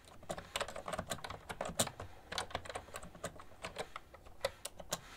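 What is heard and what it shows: Both hands type steadily with fingertips and long nails on a cream plastic ergonomic keyboard with hollow keys. The result is a quick, continuous stream of bright, clicky, hollow key taps. Each tap dies away almost instantly.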